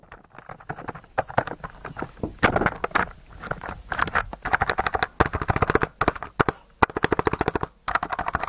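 Fingers of one hand press and stroke the plastic keycaps of a white mechanical keyboard covered in blue slime, with the keyboard held tilted up near the microphone. The result is a rapid run of short, clicky keystrokes mixed with wet, sticky squelches, pitched in the midrange with bright edges. The bursts come in quick clusters separated by brief pauses.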